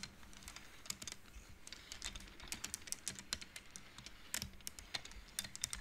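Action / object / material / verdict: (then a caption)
knock / wooden abacus beads on metal rods / wood / none. Fingertips and nails of both hands slide solid painted wooden beads back and forth along the metal rods of a wooden abacus, the beads knocking together. The result is a quick, irregular stream of short, dry, bright clicks with almost no ring, some louder than others, over a soft, low hush.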